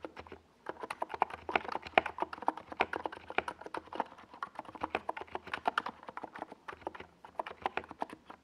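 Fingertips of both hands type on a compact 68-key NiZ Plum Atom 68 keyboard with a white plastic case and tall purple and yellow Domikey Gas Attack SA plastic keycaps, resting on a desk pad. A steady run of short, clacky mid-pitched taps is heard, each dying away almost instantly, over a faint low hum.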